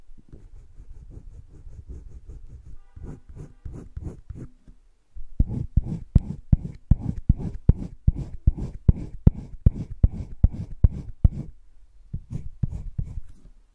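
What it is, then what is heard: Colored pencil shading on sketchbook paper. A light green colored pencil is rubbed in shading strokes across a thick drawing-paper page of a spiral sketchbook. Steady, low, soft scratching runs back and forth at first. After about five seconds the strokes turn louder and more clipped, with sharper rhythmic scrapes before easing off near the end.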